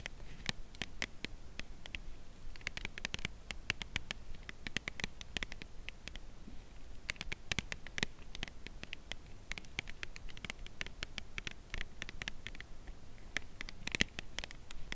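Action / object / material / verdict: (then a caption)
tap / cardboard chocolate bar box / cardboard / none. A flat, slim Lindt Creation Crème Brûlée cardboard chocolate bar box, full with the bar inside, is held edge-on in both hands and tapped along its long edge with long acrylic nails. Quick, light, dry taps and clicks come in a steady, uneven patter over a soft low hum, each one bright and dying away almost instantly.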